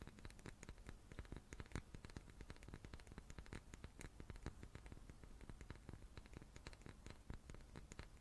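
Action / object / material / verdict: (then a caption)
tap / small wooden cube / wood / none. A small wooden cube is tapped repeatedly in quick succession. The result is a quiet, steady patter of dry, short clicks with a soft low thump and almost no ring after each tap.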